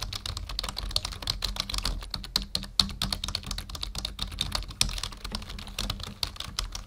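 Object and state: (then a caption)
Plastic computer keyboard. Fingertips of both hands type steadily on a full-size black plastic membrane keyboard resting on a wooden desk. The result is a fast, continuous run of short, dry plastic clicks and taps, bright and high, with very little ring, over a faint low hum.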